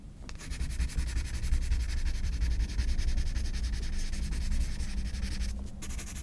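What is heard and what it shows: A graphite pencil scratches rapid, dense hatching strokes across a white paper page of a spiral sketchbook. It makes a continuous, fast rasping scratch with a bright, papery hiss over a low rumble. The strokes briefly break near the end before resuming.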